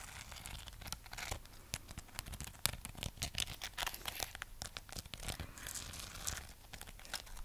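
Long nails scratch across the rough, glittery wax coating of a solid, hand-sized red waxed amaryllis bulb. The result is a dense, bright, crackling scratch made of many quick, dry clicks and rasps that blur into one another. The sound stays soft and close throughout.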